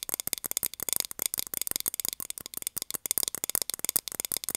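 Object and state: Plastic container lid tapped with nails.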